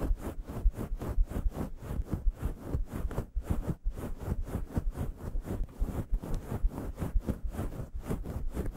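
Fingertips and long yellow nails scratch and scruff a fist-sized grey faux fur microphone windscreen in quick, steady strokes, about two per second. Each stroke makes a soft, muffled, deep rumbling brush with fuzzy scratching on top and no ring afterward. The strokes run on continuously, with no voice.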